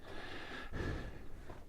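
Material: Nothing is struck.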